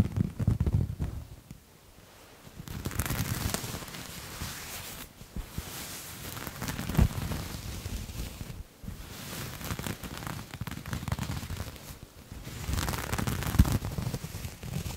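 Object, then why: Textured knit fabric. A grey textured knit fabric is held up and scratched with fingertips and nails. Dense, irregular scratchy crackling comes in bursts with brief quieter gaps, mostly low thuds of handling under a faint bright rasp.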